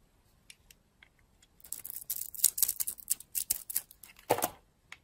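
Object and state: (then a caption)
Dry bar of soap being carved. A utility-knife blade carves and scrapes flakes off a solid, dry oval bar of soap with a dark blue shell and green interior, held in a hand with long nails. A few faint ticks give way to a dense run of bright, crisp scraping and crackling bursts, with a fuller, louder crunch near the end.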